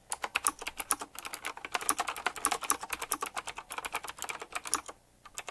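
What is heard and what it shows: Fingertips type fast on a retro typewriter-style mechanical keyboard with round plastic keycaps set in chrome rings. A dense run of sharp, bright clicks rattles on with almost no ring, then stops briefly near the end before a few final keystrokes.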